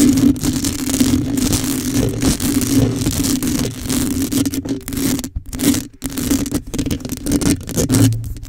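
Long nails scratch and scrape across the top of a black metal mesh microphone grille held in a hand. The result is a dense, continuous rasping texture over a steady low tone, with bright crackle throughout. The sound drops out briefly twice near the middle before the scratching resumes.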